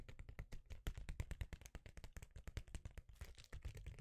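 A rectangular sheet of reflective foil bubble insulation is held in one hand and tapped rapidly with the fingertips of the other. The result is a dense, uneven stream of quick, dull taps with a low, soft thump and a faint crinkly edge. Each tap dies away almost instantly.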